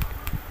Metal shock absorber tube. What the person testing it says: kalau kita Sentil seperti ini ini tidak bunyi ini apa namanya tidak nyaring